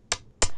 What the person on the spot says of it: You can hear a short and sharp sound.